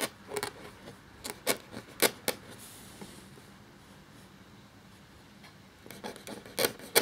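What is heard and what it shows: A black feather quill nib scratches across a thin, cream parchment-style paper sheet lying flat as it writes. Short, dry, bright scratchy strokes come in quick bursts, then a quiet pause of about three seconds. A final cluster of quick scratches ends the clip, the last one the loudest.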